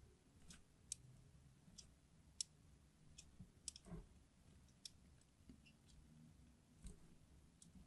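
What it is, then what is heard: Hard soap bar being scratched with a blade. A craft knife blade scratches and carves parallel lines into the surface of a solid red translucent hard soap bar held in the hand. Short, sharp, bright clicks and scrapes sound at irregular intervals over a faint low rumble, each one ending almost instantly.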